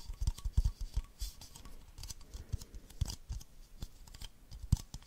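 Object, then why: Empty plastic baby bottle. Long nails tap and scratch the sides of an empty, hand-sized, hollow clear plastic baby bottle with a yellow ring and a printed giraffe. Quick, dry, hollow taps land in an irregular patter, with soft scratching between them. Each tap is a short low thud topped by a faint bright click that dies away almost at once.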